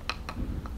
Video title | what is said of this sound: Structural Repair on a Fiberglass Coated Concrete Pool | we're tapping it out listening for hollow spots once we find them then we know what area we have to cut out